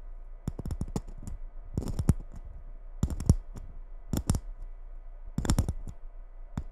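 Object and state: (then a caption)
Glitter Christmas bauble tapped with nails. Long nails tap and scratch a gold glitter Christmas ball ornament held over the microphone. Quick, crisp clicks come in irregular clusters with a bright edge, separated by soft, scratchy rasping. Each tap dies away almost at once over a low, steady rumble.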